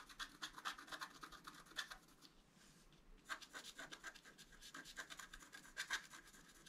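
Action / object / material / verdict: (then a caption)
scrape / wax-coated scratch art paper card with wooden stylus / coated paper / none. A wooden stylus scratches a flower and a deer's face into a flat, black-coated scratch art card. A quick series of short, dry, bright scratching strokes rasps across the surface, with a brief quieter pause midway before the strokes resume.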